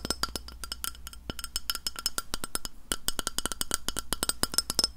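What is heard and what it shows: Long nails knock and tap rapidly on the face of a round, flat, solid white glass plate held in front of a microphone. The result is dozens of short, crisp clicks with a bright, high glassy ping that dies away almost at once, over a steady low hum.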